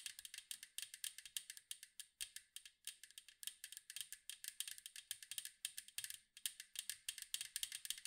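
Long mint acrylic nails tap and scratch the blue-and-white striped side of a round, hollow metal cookie tin with a lid, held in both hands. Dozens of quick, dry, bright clicks with a light metallic rattle come in uneven bursts, each dying away almost instantly.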